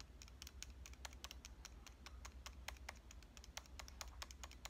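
A pink Canon compact digital camera with a metal and plastic body is held upright while its front is tapped with long dark-painted nails. A rapid, uneven stream of short, crisp clicking taps rings bright and dies almost instantly. A steady low hum runs underneath throughout.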